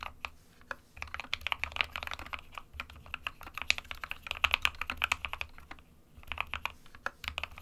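Fingertips of both hands type continuously on a small 60% SK61 mechanical keyboard with a white plastic case and plastic keycaps resting on a desk mat. Rapid bright, short clicky keystrokes come in bursts, with brief pauses near the start and around the six-second mark, over a faint low hum.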